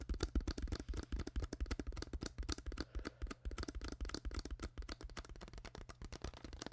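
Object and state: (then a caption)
Empty plastic water bottle. Long acrylic nails rapidly tap and scratch the ribbed sides of an empty, hollow, clear PET plastic water bottle with its cap on, held in the hand. The result is a fast, uneven stream of short, dry, crackly clicks with bright edges, over a steady low hum.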